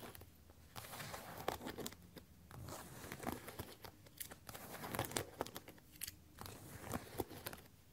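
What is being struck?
Patent leather platform boots.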